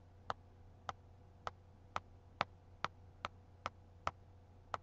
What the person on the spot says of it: Tapping on a book with one nail.